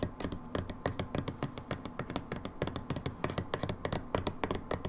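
Long nails tap rapidly and unevenly on a labeled brown plastic hydrogen peroxide bottle. Each tap is a short, dry click with a low, hollow thump and a bright tick on top, dying away almost at once.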